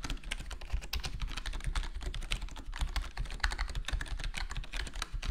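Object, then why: Plastic computer keyboard with foam-dampened case. Fingertips of both hands type rapidly on a full-size black plastic HyperX Alloy Core gaming keyboard with square plastic keycaps and a foam-modded, foam-dampened case. The result is a steady stream of short, muted, low-heavy key taps with faint bright clicks on top, each dying away almost instantly.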